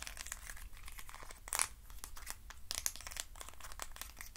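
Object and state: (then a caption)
Wooden stick box scratched. Fingernails scratch the ribbed walls of a hand-sized, hollow hexagonal box made of thin wooden sticks. The result is a steady, dense crackle of quick, bright, crinkly scrapes over a faint low rumble, with slightly louder bursts of scratching near 1.5 and 2.8 seconds.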